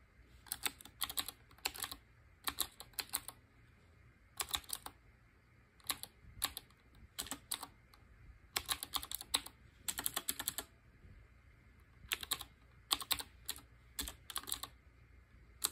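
Fingertips with short painted nails type on a black Qwerkywriter BIOHAZARD collaboration typewriter-style mechanical keyboard with round chrome-ringed keycaps. Bright, crisp clacks come in quick bursts and flurries, with very short ringing. Brief pauses between the bursts leave a faint low hum.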